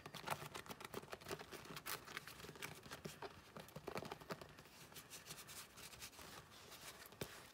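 Long painted nails tap on a closed long cream leather wallet with a round metal logo plate on the flap. The result is a quiet, rapid series of short, sharp clicks and light scratchy ticks that never ring on.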